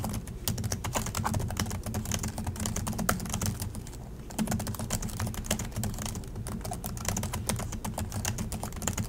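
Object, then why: Plastic laptop keyboard keys. Both hands type continuously with their fingertips on the plastic chiclet keys of an Acer laptop. The result is a rapid, steady stream of short, bright clicks over a low, constant hum, with a brief lull just after the four-second mark before the typing picks up again.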